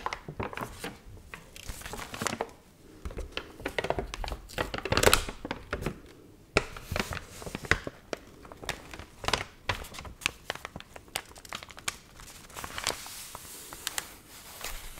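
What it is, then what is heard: Water-wrinkled paper magazine. A thin glossy paper magazine, wet and dried so its pages are stiff and wavy, is held in both hands and flexed, crinkled and page-flipped with long nails and fingertips. Dense, crisp crackles and sharp, bright snaps come in quick irregular bursts, with a louder rustling swell around the fifth second. Each crinkle stops short with almost no ring, leaving a steady dry crackling texture.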